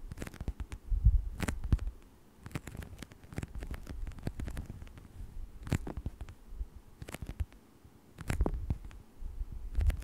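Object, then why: Thin textured plastic sheet. Fingertips scratch and rub across a thin textured plastic scale sheet lying flat. The result is a quiet, bassy rustle punctuated by many brief, crisp ticks that flash up into the high range, with louder patches of rubbing near the start and end.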